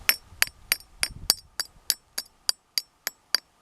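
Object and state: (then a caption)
Obsidian pieces knocked together, glassy clink. Two pieces of obsidian are knocked together at Glass Mountain, giving twelve sharp, high clinks with a bright glassy ring. The glassy tone explains the mountain's name and is unlike the sound normal rocks make.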